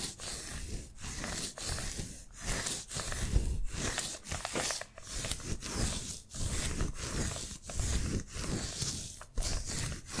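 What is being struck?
Adhesive paper lint roller.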